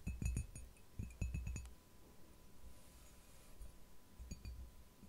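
Long nails tap and scratch the outer surface and base of a hollow, empty white ceramic mug lying on its side or upside down on a felt mat. Quick bursts of taps give low, dull knocks with short, bright clinks that fade fast. A quieter stretch of soft scratching follows before a final cluster of taps.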